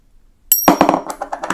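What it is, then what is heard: Counterfeit silver dollar coin. A counterfeit 1880 silver dollar coin, about 3 g lighter than the genuine one, is sound-tested, giving a brief high ring followed by a run of dull, low clinks. The tone is not crystalline and cuts off quickly, marking it as fake.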